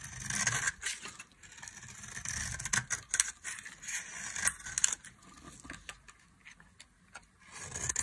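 A small utility knife blade scrapes a solid, dry, pale yellow bar of soap held in one hand, curling off fine shavings over a pile of green and yellow soap shavings. Crisp, bright, dry scraping comes in a quick series of short strokes, with faint lower thumps in between.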